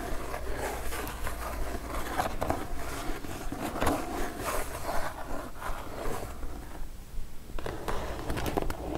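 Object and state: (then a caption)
Kraft cardboard mailer box. Long nails tap the top and scratch the sides of a kraft cardboard mailer box, making dry, papery scrapes and soft taps with bright crackly edges. The sounds run in an uneven, continuous stream over a steady low hum, briefly thinning out near the seventh second before picking back up.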